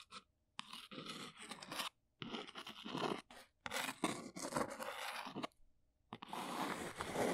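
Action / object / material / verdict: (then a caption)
scrape / small cardboard box / cardboard / none. A small brown cardboard box is held and turned while long nails tap and scratch across its faces. Dense, dry scratching and crunchy tapping come in several bursts separated by brief silences. The texture is papery and bright with little low end.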